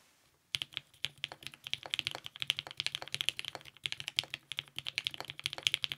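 A TGR 910 RE compact mechanical keyboard with lubed 55g Nixie switches, purple GMK ABS keycaps, a polycarbonate plate and a clear case sits on a desk and is typed on with the fingertips of both hands. After about half a second of quiet, a fast, steady stream of short, bright, clacky keystrokes follows with almost no low end. Each key sound dies away instantly.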